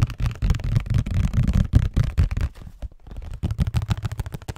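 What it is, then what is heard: Cardboard tissue box. A hollow, printed cardboard Scotties tissue box is held close to the mic and tapped and scratched with fingertips and nails. The result is a fast, irregular run of deep, hollow thuds that die away almost instantly, with scratchy rustling mixed in. The tapping eases briefly just before the three-second mark, then picks up again.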